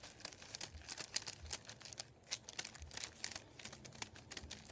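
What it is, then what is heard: Paper sheet being crinkled. Fingertips tap, rub and crinkle a thin sheet of printed white paper resting on a wooden table. Dense, dry crackling and short bright snaps come through close and quiet, with very little low end and no ring after each sharp tick.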